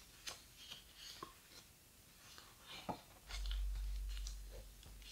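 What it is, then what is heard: Heavy paper pages of a large hardcover book. Fingertips and nails rub across the large, heavy paper pages of a thick, open hardcover photo book and turn them. Soft scratchy brushing and crisp paper ticks are heard, followed by a louder low rumble in the second half as a page is handled and turned.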